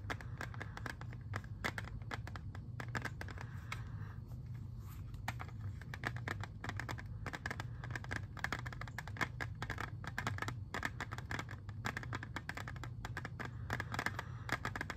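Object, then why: Plastic CD jewel case. Fingernails rapidly tap and scratch on the surface of a clear, hard, hollow plastic CD jewel case with a disc inside, small enough to hold in one hand. Dense, quick clicks and scrapes run nonstop over a steady low hum, each click dying away almost at once.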